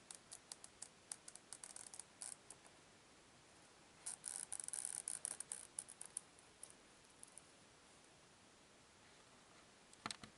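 Long pink-painted nails scratch and tap the printed, laminated cardboard cover of a closed old hardcover children's book, "Spooky Tricks," held flat. Quiet, bright, dry clicks and scratchy taps come in scattered bursts, with a denser cluster of scratching in the middle and a brief final flurry near the end. There is almost no low end or ring.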